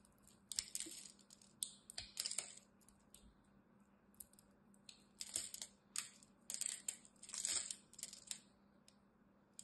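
A utility knife blade shaves and cuts chunks from the surface of a solid green bar of soap held between both hands. Short, crisp scraping and carving bursts come in uneven clusters, bright and high with almost no low end, each stopping quickly against a quiet background with a faint steady hum.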